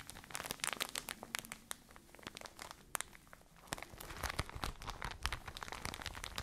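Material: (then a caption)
Plastic. Fingertips with long nails squeeze and crinkle a soft white and blue plastic packaging bag full of cotton pads. Dense crinkling is punctuated by sharp, bright crackles and clicks, easing to a quieter rustle midway before picking up again in busier bursts.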